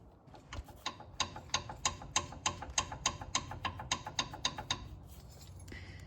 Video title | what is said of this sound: F150 Sway Bar Link Replacement - Easy DIY Suspension Fix! | the shaking, the knocking is actually coming right from the bottom of it